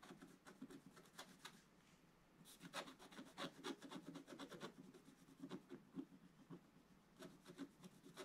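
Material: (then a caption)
Coated paper. A pointed wooden stylus repeatedly scratches the lower left of a black-coated scratch-art paper page in a bound book. Quick, uneven rasping strokes come about four per second, with quieter lulls near 2 and 7 seconds. Each stroke has a low papery body and bright, hissy streaks that stop dry with no ring.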